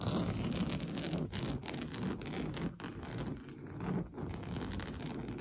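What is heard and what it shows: Fingernails scratch fast, back and forth, across a large padded sofa cushion covered in orange coarse-weave fabric. The result is a steady, rough, dense scratching texture, mostly low and muffled, with brief dips where the strokes change direction.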